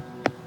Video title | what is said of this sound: The Stonehenge Bluestone Debate - What do we really know? - Documentary | there's a much hollower sound or an element of a drum to it